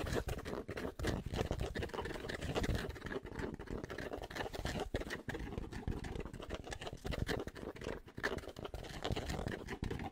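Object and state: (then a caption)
Fabric baseball cap. Fingertips tap rapidly on the fabric crown of a grey Penn State baseball cap held upside down. The result is a dense, continuous patter of soft, muffled thuds, heavy in the low end, each tap dry with almost no ring.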